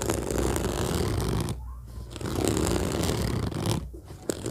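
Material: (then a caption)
Fabric. Fingers of both hands rapidly tap and scratch the fabric top of a large, hollow orange fabric-covered zippered suitcase lying flat. The result is a dense, continuous, low, rumbling scratching texture with a soft hollow thud underneath. It dips briefly quieter twice before resuming.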